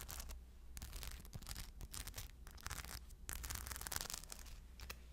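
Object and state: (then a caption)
Rhinestone-covered purse. A crescent shoulder bag covered in small rhinestones, held up by its strap, is scratched with long blue nails. Dense, bright, crackly scratching and rapid clicking come in bursts over a steady low hum.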